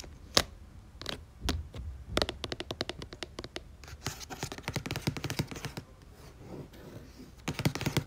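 Long nails tap quickly on the glossy paper cover of a red and orange paperback book lying flat, with a barcode near its edge. Short, dry clicks and ticks come sparse at first, then build into fast rattling runs, with softer brushing scratches in between. Each tap dies away almost at once.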